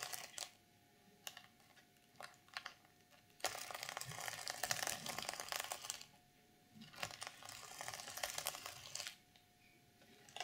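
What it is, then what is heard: Sequin fabric journal cover. Long purple nails scratch and brush the plastic sequins of a reversible sequin fabric cover on an unwrapped journal. Short bright clicks come first, then two longer bursts of dense, crisp scratching and rustling with quiet gaps between them.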